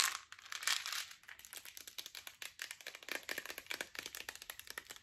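Long nails tap and scratch a green plastic supplement bottle with a yellow cap and paper label, with tablets inside. A louder, bright crinkling scrape in the first second gives way to quick, irregular, sharp clicky taps, all high-pitched with almost no low end.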